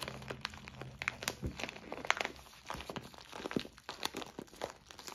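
Fingertips squeeze and press a clear plastic zip-lock bag full of white soy wax flakes, crinkling the plastic and crunching the flakes inside. A steady run of short, bright crackles and crunches comes through, each one dying away almost instantly, with some louder snaps mixed in.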